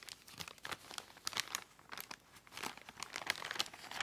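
Fingertips touch and scratch along the edges of a filled white Amazon plastic poly mailer lying on a table. The result is a steady run of bright, dry crinkling and light crackling bursts with almost no low end. Each rustle stops short with no ring.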